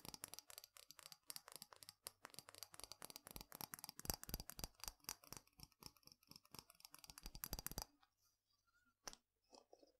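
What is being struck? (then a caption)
Small glass spice jar with hinged glass and metal clip lid, partly filled. Fingernails tap rapidly on the glass lid and sides of a small clear glass spice jar with a hinged glass and metal clip lid, partly filled with spice. The result is a fast, uneven run of short, bright clicking taps for about eight seconds, followed by near silence with a few faint scattered sounds.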